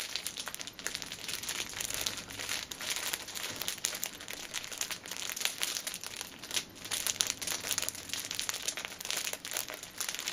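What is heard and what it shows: Fingers and nails squeeze and crinkle the plastic film of a hand-held, cellophane-wrapped six-pack of paper pocket tissues. A dense, continuous stream of bright, high crackles and crinkles comes with almost no low end.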